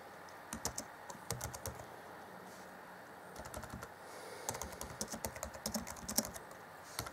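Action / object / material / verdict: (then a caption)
tap / plastic laptop keyboard keys / plastic / none. Fingertips of both hands type on the black plastic chiclet keys of an Acer Chromebook C20 (2014) laptop keyboard. Quick, dry, bright clicks with no ring come in bursts: a flurry from about 0.5 to 1.8 seconds, a soft patter around 3.5 seconds, and a denser run from about 4.3 seconds to the end. The loudest tap lands just after 6 seconds.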